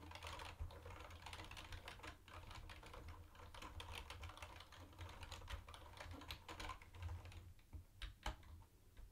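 A mint-green plastic retro keyboard with round white plastic keycaps is typed on with the fingertips of both hands. It gives a fast, continuous stream of light, clacky plastic key taps with brief bright clicks. A steady low hum runs underneath throughout.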